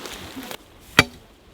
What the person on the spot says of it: Dès que ça sonne pierre